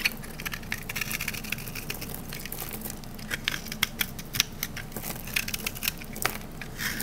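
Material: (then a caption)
Soap. A rectangular, solid green olive-oil soap bar is held in the hand while its face is scraped with a metal utility knife blade, producing crunchy shavings. Dense, crackling crunches with bright, dry snaps sit over a steady low hum, with the sharpest clicks peaking around 2.5 kHz. Each snap dies away almost instantly.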